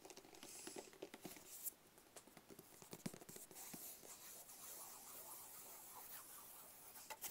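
Fingertips tap rapidly on the lid and sides of a small, closed, hollow black cardboard gift box. The result is a quiet, uneven patter of short, dry, papery taps with a bright, scratchy texture, little low end, and almost no ring after each tap.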